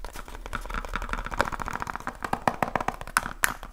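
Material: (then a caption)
Cardboard. Fingertips and short nails tap quickly on a small rectangular cardboard light bulb box, likely still holding its contents, held in both hands. Dry, papery taps come in an uneven rush with no ring. Sharper, brighter clicks stand out near the end.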